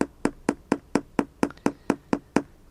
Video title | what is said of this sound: แกะกล่องอะไรไม่รู้ EP.2 ลืมไปเลยว่าเคยซื้อ วันว่าง ๆ กับคนบ้า ว่างก็แกะ ไม่ว่างก็ปล่อยเกะกะไปงั้นอะ | ให้ฟังเสียงอีกรอบนึงนะอันนี้พื้นตายนี่